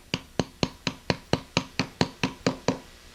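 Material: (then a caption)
Rubber. A valve stem seal on an SBC 350 cylinder head is tapped down onto its valve guide with a 1/2 inch deep socket, giving twelve short, evenly spaced knocks that each die away quickly. The tapping stops once it starts to sound solid and the seal is seated, since hitting too hard would push the seal too far and crack it.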